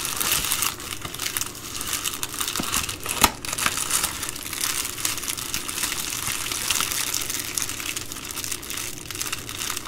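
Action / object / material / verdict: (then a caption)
scrape / plastic poly bubble mailer / plastic / none. Fingertips and long nails fold and crinkle an empty Amazon Prime poly bubble mailer along a crease. A steady, bright plastic crinkling runs throughout, with one sharper crackle standing out near the three-second mark.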